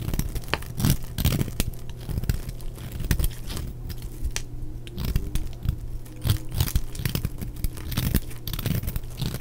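A large, solid block of dry yellow soap held in the hand is repeatedly scraped with a small metal blade, making a rapid series of crisp, crunchy tearing scrapes with a dull, low-heavy body. Crumbly chunks break off onto a pile of shavings.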